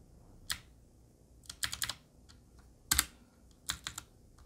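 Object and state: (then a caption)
Mechanical keyboard with metal frame and round plastic keycaps. A Qwerkywriter typewriter-style mechanical keyboard with a black metal body and round plastic keycaps is typed on slowly with the fingertips. About ten sparse, bright key clicks sound in small clusters, each dying out almost instantly over a quiet background.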